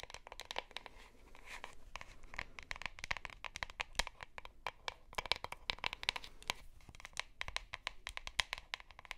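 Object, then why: Plastic deodorant stick. A plastic deodorant stick is held close while long nails scratch and tap its bottom and sides. The result is a rapid, uneven run of dry, crackly clicks and scratches, bright and thin with little low end. Each tap dies away almost instantly.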